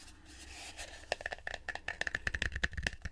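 A wooden bowl is tapped up close, starting after a quiet second of low rustle. The 13 light, quick taps each give a short, hollow knock with a faint ring near 1.7 kHz that dies away almost at once.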